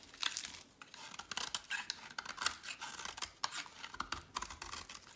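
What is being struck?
Bar of soap shaved with a metal blade.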